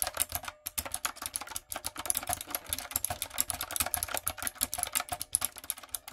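Long coffin nails and fingertips type rapidly on a backlit, typewriter-style mechanical keyboard with round retro plastic keycaps and a hollow plastic body. A steady stream of sharp, bright clicks and clacks rattles along, each one dying away almost instantly with a faint hollow knock beneath.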